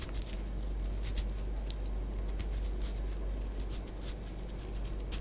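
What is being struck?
Pressed powder bath bomb.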